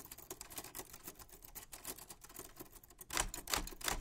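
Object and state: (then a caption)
Manual metal typewriter keys. White-gloved fingertips hold the sides of a 1940s Smith-Corona manual typewriter, with a black painted metal body, round keys and paper loaded, then press and tap its keys. The key mechanism gives a quick, uneven run of short, bright mechanical clicks with little ring, growing louder and sharper in the final second.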